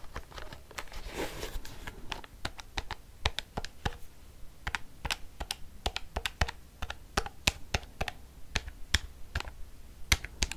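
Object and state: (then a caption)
Plastic calculator keys tapped. A black plastic calculator, held tilted, has its keys tapped quickly with long fingernails. The result is a steady stream of sharp, dry plastic clicks with bright edges and almost no ring. A brief soft scratchy rustle comes near the start.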